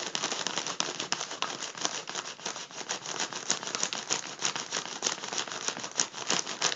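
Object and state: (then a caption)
Foil balloon being crinkled. Fingertips of both hands pinch and crinkle a hollow, partly inflated gold mylar foil number balloon at a crease. Dense, bright crackling and crinkling rustles steadily, with quick sharp snaps rising above it and almost no low end.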